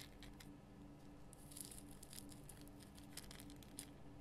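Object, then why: Rock salt lamp. Long fingernails scratch the rough crystal surface of a large pink Himalayan rock salt lamp. Quiet, bright scratchy ticks and rasps come in short bursts over a steady low hum.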